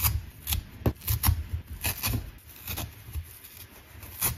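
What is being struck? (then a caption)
Nylon scouring pad. A thin, flat, dry green abrasive nylon scouring pad, fibrous and solid, is held in both hands and pulled apart with the fingertips. It makes a run of short, dry, scratchy ripping bursts with bright crackle over a soft low rumble. Quieter fibrous rustling fills the gaps between the tears.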